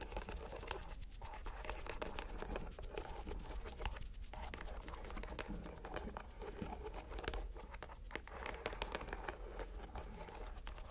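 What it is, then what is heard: Rubber mesh stress ball being squeezed. A purple rubber stress ball inside a white mesh net is squeezed in the hand, close up. It makes a continuous, dense crackling and scratching texture of many tiny clicks and squelches over a low, steady rumble, with no clear pauses.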